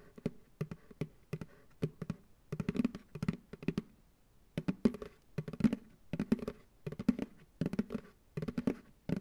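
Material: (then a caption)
Plastic. An empty white plastic ice cream pail sits upside down on a lap and is tapped on its hollow bottom with fingertips and nails. Quick bursts of short, dull, hollow taps with a low-mid body die out almost instantly, with a brief pause near the middle.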